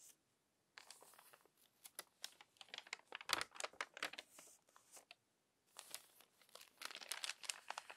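A long-nailed hand turns the crinkly pages of a crumpled glossy magazine one after another. Bursts of dry, bright crinkling and crackling come in quick clusters, with short silent pauses between them.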